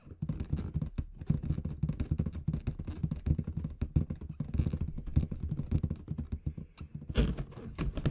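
Long red nails tap rapidly, like typing, on a large inflated clear latex balloon with confetti inside. The result is a dense, steady patter of short, dull, low thumps with a soft rubbery quality, and a few brighter scratchy bursts near the end.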